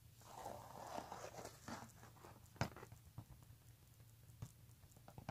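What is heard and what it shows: Fingertips and nails scratch and tap the front of a pink embossed leather handbag with brown leather trim lying flat. Soft, dry rustling scratches are punctuated by short, sharp taps that die away almost instantly, over a steady low hum.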